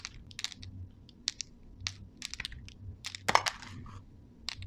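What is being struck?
Candy-coated chocolate balls.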